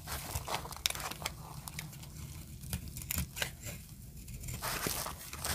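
A small metal blade shaves and scrapes brittle flakes from the edge of a solid pink marbled bar of dry soap held in the hand, dropping them onto a pile of pink shavings. Dry, crisp scraping and crunchy cracks snap out as sharp, bright bursts over a low, steady rasp.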